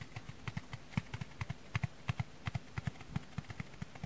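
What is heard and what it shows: Dry sponges are tapped in a quick, uneven rhythm of 23 soft, dull taps over about four seconds. Each tap is a brief low thud with a faint brighter click that dies away almost at once, over a quiet, steady background hiss.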